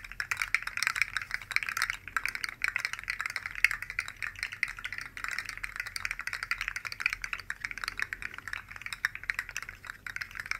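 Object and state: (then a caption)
Plastic articulated slug toy rattling. Two identical rainbow-colored articulated plastic slug fidget toys made of hollow segments are dangled from the fingertips and shaken beside the mic. The segments rattle and click in a dense, steady stream of short, dry ticks that stays bright and thin, with almost no low end.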